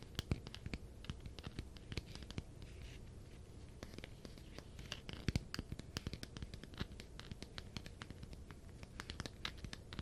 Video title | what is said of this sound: Tapping and scratching on my funko pops! ASMR ~ Yeah it's mostly sonic ones. | This one definitely has a very different sound because of the texture.